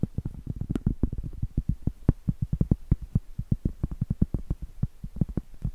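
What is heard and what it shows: Long acrylic nails tap and scratch the face of a round, flat, solid cork trivet held upright. The result is a rapid, uneven stream of dozens of short, dull, muffled thumps. Nearly all of their energy sits in a deep, low register, with almost no brightness and no ring after each hit.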